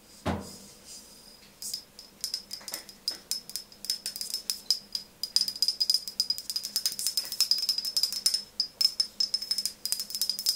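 A medium white frosted glass OSEA skincare bottle with a silver pump top, held in one hand and apparently full, is tapped with long fingernails. Dozens of quick, crisp clicks come in irregular bursts, with a bright, high glassy tone that dies away almost instantly after each tap. A single duller knock opens the clip.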